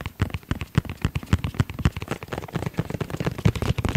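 Fingertips tap rapidly on a rigid, hollow hard-shell EVA zip pouch with a dark gray textile shell and red trim, held close to the microphone. The taps come in a quick, irregular patter of short, dry, hollow thuds, weighted low around 105 Hz, each dying away almost instantly.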